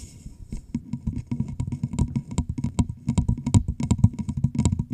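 Long pink nails on both hands tap and scratch the sides of a large, hollow, empty clear plastic bottle with a red label, held over the microphone. They make a rapid, busy stream of short, low, hollow knocks mixed with faint scratchy clicks. Each tap dies away almost instantly.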